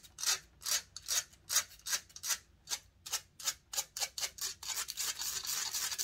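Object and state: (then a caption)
Metal microphone grille being scratched. Long nails scratch and rub the hollow metal mesh grille of a large silver condenser microphone. Quick, bright, hissy rasping strokes come in a steady rhythm, then crowd together into a denser, continuous scratching toward the end. There is almost no low end.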